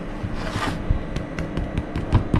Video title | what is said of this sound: Episódio 1 - #paodasbeatas | Ouve-se o barulho oco que tem que se ouvir no pão. Tem que se ouvir este barulho.